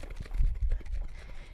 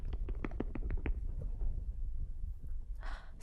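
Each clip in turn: First: jar of churned butter, done (sloshing returned). Second: jar of whipped cream thickened, no sloshing.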